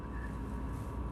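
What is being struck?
Nothing is struck.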